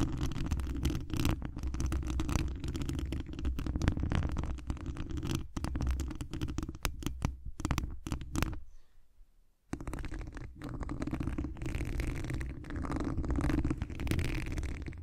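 Long acrylic nails scratch the hollow mesh wire dome grille of a large condenser microphone, then fingertips rub at its top. The result is a dense, close, boomy rasping heavy in low rumble, with a brief near-silent pause around nine seconds before the scratching resumes.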